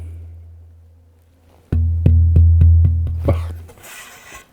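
A German alpine spruce tonewood plate for a guitar top is tapped in a quick series of knocks, each adding to a deep, sustained ring around 86 Hz with a fainter overtone above it. The ring hangs on for about a second after the last tap before fading into a soft hiss. The plate rings with a full, resonant tone, marking it as good-quality tonewood.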